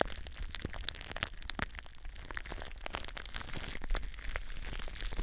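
Clear plastic bubble wrap is wrapped around a microphone while long nails scratch and crinkle the bubbles. Close, dry crackling and sharp snapping ticks come in a steady, dense stream over a low rumble, with brief bright clicks scattered throughout.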